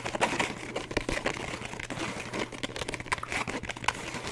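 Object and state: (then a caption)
Paper book. Fingertips and nails tap and scratch quickly along the top edge and cover of a thick paperback book lying flat with its page edges facing out. The result is a fast, irregular run of dry crinkly taps and papery scratches, with a faint steady low hum underneath.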